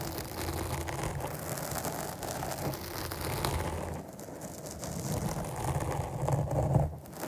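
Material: Foam.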